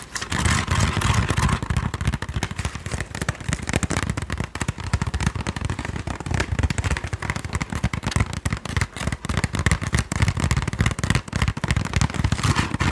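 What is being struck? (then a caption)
Woven wooden sticky rice basket. A woven wooden Thai sticky rice basket is tapped and scratched in a steady stream of rapid, dry taps and crackly rustling, heavy in low thumps, throughout the clip.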